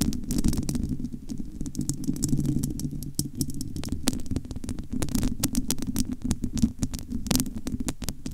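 Long almond-shaped nails of both hands scratch across the bare, domed metal wire-mesh grille of a large, hollow studio microphone. The result is a dense, continuous low rumble with a throbbing, muffled quality, broken by rapid, bright scratchy ticks that come and go throughout.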